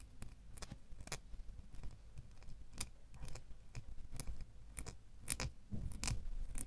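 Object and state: Metal door key.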